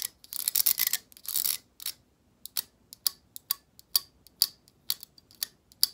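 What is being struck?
Plastic hair brush bristles strummed with nails.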